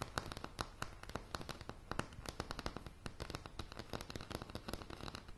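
Long polished nails tap rapidly and irregularly on a light, solid wooden plank floor, recorded close-up. Each tap is a sharp, dry click with a low woody thump underneath, and it dies away almost instantly. The quick stream of clicks gives a crackling, popping texture.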